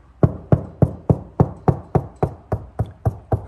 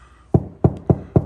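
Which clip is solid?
The first.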